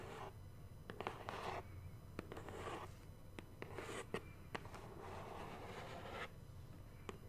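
Long nails scratch along the top edge and face of a large, hollow black cardboard subscription box, making soft, raspy scraping bursts. Sharp little taps and clicks stand out between the scratches over a low, steady hum.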